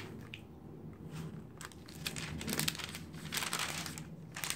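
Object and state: Paper magazine pages turning.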